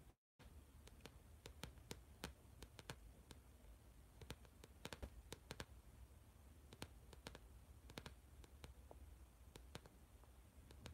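Fingertips and nails of the left hand tap and scratch near the edge of a blue spiral notebook with a plastic or laminated cover, held in both hands. A long, irregular run of quiet, sharp, bright clicks with faint scratching sits over a steady low hum, after a brief dropout to silence at the very start.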